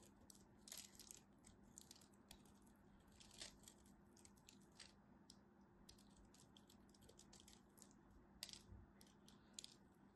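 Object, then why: Bar of soap. The remaining piece of a solid green striped bar soap is cut with a craft knife held in hand, and chips crumble off. Quiet, crisp, bright crackles and short scraping clicks come in clusters over a faint, steady low hum.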